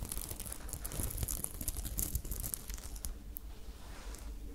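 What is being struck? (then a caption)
Sequin fabric top. Long nails scratch and rub the sequins of a sparkly silver sequin top held up in one hand. The result is a steady, crinkly rustle with bright, glittery clicks over a soft low rumble, swelling slightly in the middle before easing off.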